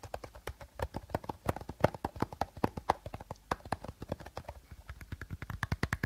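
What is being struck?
Clear plastic bottle.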